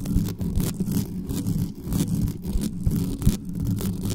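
Long nails on both hands scratch fast at the hollow metal mesh grille of a black condenser microphone. The result is a dense, continuous low rumble and scrape with a steady hum around 117 Hz, broken by short bright bursts as the nails rake across the mesh.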